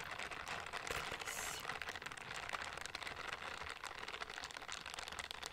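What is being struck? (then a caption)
Silicone scrubbing gloves with bristle palms. A pair of pink silicone dish-scrubbing gloves with bristle palms, worn on both hands, rub against each other beside a microphone without touching it. The result is a soft, steady, bright crinkling and rustling hiss with quick scratchy textures throughout and almost no low end.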